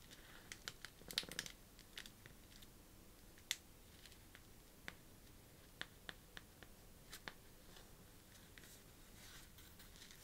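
A long fingernail scratches and taps the surface of a flat, thin paper birthday card with a glitter print as it lies on a cloth table. Quiet, bright, scratchy rustles are broken by sharp, dry clicks that stop almost at once, with a small cluster near the start and scattered single taps after.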